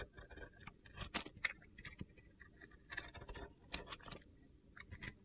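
A metal box-cutter blade scrapes across the surface of a solid, palm-sized pink and blue glitter bar of soap scored with a grid. Quiet, crisp, high-pitched scratchy bursts come in irregular strokes, each dying away almost instantly.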